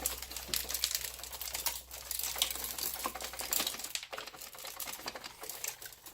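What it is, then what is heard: Projector with loose broken lamp glass inside. An Optoma HD70 projector, full of quartz shards from its exploded lamp, is shaken over a cardboard box. Dense, bright rattling and clinking comes from the loose glass pieces inside the housing, and shards and a piece of the ignition coil fall out into the box.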